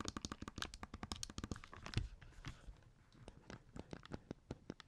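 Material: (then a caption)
Plastic. Fingertips press and click the buttons and tap the casing of a small, hollow black plastic Game Boy Advance SP that sits opened on a table. About thirty short, dry clicks and taps come in quick succession, each with a low, hollow thump and a bright plastic edge. There is a louder cluster near the start and a softer patch in the middle.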